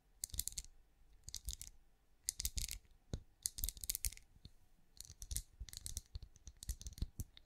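A hand-sized cream pinecone-shaped wax candle, solid and resting on the palm, is tapped with long acrylic nails. The result is bursts of quick, dry, bright clicks and light scratchy taps with almost no ring, separated by brief pauses, over a soft low thump.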